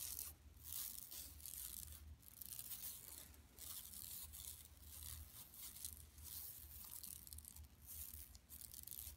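Long nails scratch across an empty, large, flat yellow woven plastic mesh tote bag lying on carpet. Bright, raspy scratching comes in repeated strokes over a low, steady rumble, with short quiet dips between passes.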